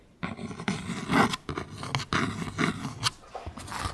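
Long pink acrylic nail tips scratch a small, thin, flat dark cardstock clothing tag that reads "Barbilioni." A series of close, dry rasping strokes in uneven bursts produce a papery scratch with bright hiss and a soft low rub underneath.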